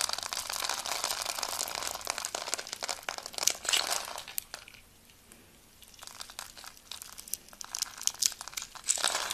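A utility blade scrapes across a solid white bar of soap held in the hand, its surface pre-scored in a diamond grid, shaving off small cubes that crumble away. The result is a dense run of crisp, bright crunching and crinkling scrapes with almost no low end. It quiets to a near pause around the middle, then resumes and ends with a louder burst.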